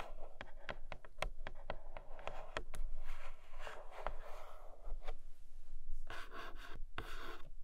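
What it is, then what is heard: Cardboard box with plastic window, tapped and scratched. Long nails tap and scratch across the clear plastic window and edges of a flat grey cardboard Nomad box. Quick, sharp clicky taps fall among soft, rustling scratches over a faint low rumble, and the taps are loosest and most spaced in the first half. The sound stays quiet and close throughout.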